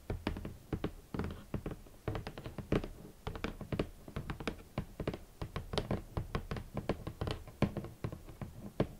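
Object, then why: Rigid cardboard shoe box. Long nails tap steadily across a large, hollow, rigid red cardboard shoe box. The taps are quick and dull, with low, hollow thuds under short bright clicks. Each tap dies away almost instantly.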